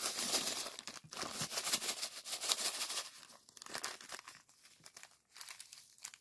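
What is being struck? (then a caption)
Plastic zip-lock bag filled with sand granules. A small clear plastic zip-lock bag of purple sand granules, held in both hands, is squeezed and rubbed by the fingers. The result is a dense, bright, gritty crinkling and crunching with little low end, louder and steadier for the first three seconds and then thinning into quieter, scattered bursts.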